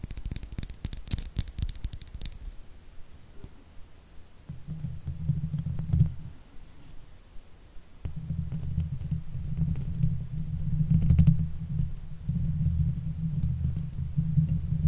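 The nails and fingers of both hands scratch and rub the hollow steel mesh grille of a silver Blue Yeti microphone. It opens with about two seconds of bright, crackly scratching, then shifts to deep, muffled rumbling rubs that swell in long waves around 160 Hz, with faint ticks on top.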